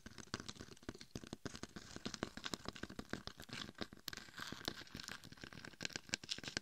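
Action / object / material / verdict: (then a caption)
scrape / glitter-coated hollow dummy head microphone / glitter, plastic / none. Long acrylic nails scratch along the gold-glitter side and top of a head-sized, hollow-shelled, glitter-coated dummy head microphone. The result is a dense run of short, bright, crinkly scratching strokes with a gritty texture and no ringing between them.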